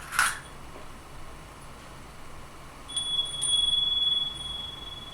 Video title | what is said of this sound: 「ありがとうフィンランド、ただいま日本！」カフェにガチャに雑貨に居酒屋に…東京の好きに溺れる4日間 | C'est un carillon à vent